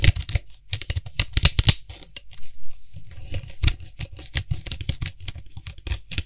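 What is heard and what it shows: Fingertips rapidly tap and scratch around the white hollow plastic cap of a tilted Lysol aerosol spray can. The result is a quick, irregular run of dry, low hollow thumps with short bright scratchy crackles and almost no ring. A softer, quieter stretch of scratching falls in the middle.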